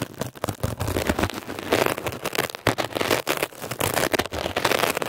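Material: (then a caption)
Foam. A metal ear pick scratches and pokes at a blue mesh-covered textured foam scrub sponge, making fast, dense crackling and rasping scrapes. The sound is a steady stream of gritty, broadband friction bursts with bright edges, rising and falling quickly in loudness throughout.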